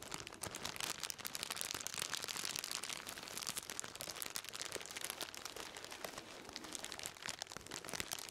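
A black plastic-wrapped bundle is held in both hands and crinkled and scratched with the fingertips. A steady, quiet stream of bright, dry plastic crackles and scratchy rustles continues throughout, with little low end and no ringing.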